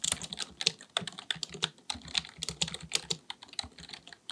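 Both hands type continuously with their fingertips on a black, full-size plastic keyboard with a hollow body, likely mechanical, resting on a desk. Rapid, bright, crisp key taps tumble over one another in an uneven rhythm with almost no low end. Each click stops dead with no ring.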